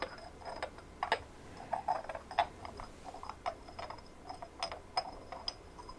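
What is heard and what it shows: Long nails tap and scratch a hand-sized white ceramic ornament with a rough, sandy textured surface and small glazed blue and cream decorations. Quick, irregular clicking taps ring only briefly, with a midrange tone near 680 Hz and a bright edge, mixed with scratchy rasps over a quiet, steady hiss.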